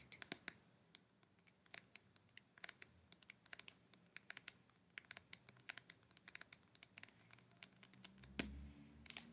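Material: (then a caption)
Paper. Fingertips with short nails tap and scratch along the top edge and glossy paper cover of a small, closed paperback book, *Out on a Limb*, held upright in one hand. Dozens of quiet, bright clicks and scratches come in quick, irregular bursts over a soft background hiss. Near the end, one louder scrape is followed by a low rumble.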